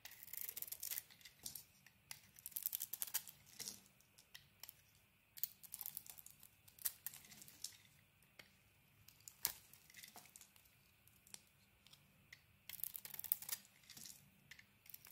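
A green SPEICK solid bar of soap, held in the hand, is shaved with a craft blade, revealing its cream interior. The blade makes crisp, bright scraping and crinkling strokes in short bursts, separated by near-silent pauses.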